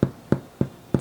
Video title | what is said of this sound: 🌾Sourdough Success: My Beginner Journey with a Rehydrated Starter! 🍞✨ | when you flip it over and you tap it supposed to have that Hollow sound